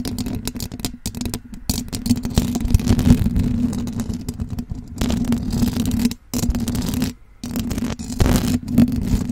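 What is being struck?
Metal mesh microphone grille.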